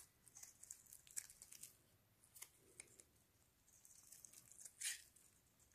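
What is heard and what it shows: A metal blade scrapes long shavings off the face and edges of a pale green solid bar of soap held in gloved hands. The sound is quiet, bright and scratchy, with crisp high ticks and short shaving strokes, and one louder scrape near the end.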